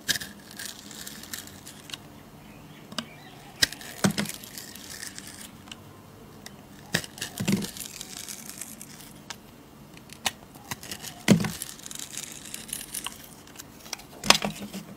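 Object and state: Bar of soap being scraped.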